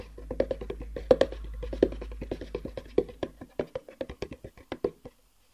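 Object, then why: Cardboard box. A long, hollow black cardboard box with white edges, held horizontally, is tapped on top with the fingertips. Quick, irregular taps give short, dry, hollow knocks with a woody tone around 500 Hz over a faint low hum. The taps become more spaced out toward the end and stop just after five seconds.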